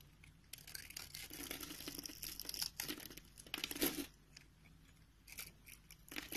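A solid, hand-sized beige soap bar held in the palm has its surface scored into a grid and carved into small cubes with a metal utility knife blade. Dry, bright scraping and cutting scratches come in uneven bursts with short pauses, ending on a sharper, louder cut.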